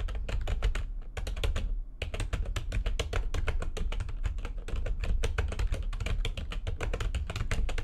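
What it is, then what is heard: Plastic computer keyboard being typed on. Both hands with long nails type fast on a full-size plastic backlit computer keyboard, producing a dense stream of sharp, bright key clicks over a heavy low rumble. The typing breaks off briefly near one and two seconds, then runs steadily to the end.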